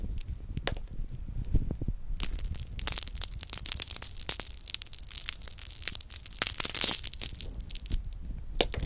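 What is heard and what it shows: A small round chocolate hazelnut praline held in the fingers has its milk chocolate and nut coating squeezed with the fingertips until it cracks, revealing the hollow wafer shell beneath. The crushing produces dense, bright crackling and crunching with many sharp snaps over a low rumble, growing busiest around the middle and near the seventh second.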